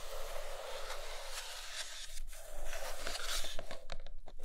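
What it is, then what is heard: Glossy cardboard box being scratched. Long nails scratch the sides and then the top of a large iPad Pro cardboard box with a glossy printed lid. The result is a dry, crackly scraping with bright, hissy texture, growing louder and choppier toward the end as the strokes become short and uneven.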